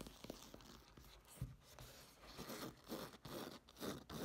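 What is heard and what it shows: Long nails scratch and tap the textured surface of a black woven nylon case held upright. The result is quiet, irregular scratching and soft tapping with a dry, crunchy, zipper-like rasp. Brief louder taps and swells stand out from the steady scraping.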